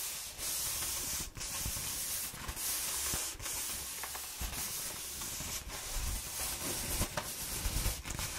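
Long nails and fingers rub and scratch along the ridges of a hollow brown corrugated cardboard roll while a hand grips it. The result is a steady, bright, dry rasping hiss, broken by brief pauses between strokes, with soft low thumps and rumble from the grip.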